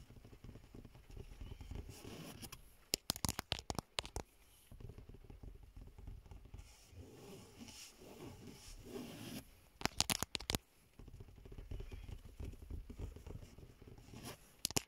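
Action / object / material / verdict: scrape / woven fabric car seat upholstery / fabric / none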